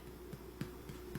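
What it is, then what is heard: Hollow-sounding, fully baked bread loaf. Soft, low, hollow thumps sound as the bottom of a baked Ukrainian paska, an enriched bread loaf popped out of its pan, is thumped four times over a steady low hum. The hollow sound shows the loaf is baked long enough, matching its 197°F center temperature.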